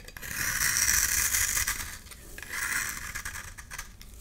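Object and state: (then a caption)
Soap bar being scraped. A palm-sized solid orange bar of soap, held in one hand with pink-nailed fingers, is scraped and shaved with a box-cutter blade as curls and crumbs fall off. Two long, bright, gritty scraping passes rasp across the surface, the second slightly shorter. Faint crisp ticks and crumbling follow at the end.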